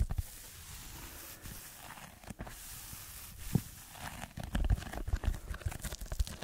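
Fingertips scratch a red textured foam block held just above a microphone. Soft, dull scratching and rustling rise from a quiet start into a denser run of short, thumpy scrapes, with most of the energy deep in the low end.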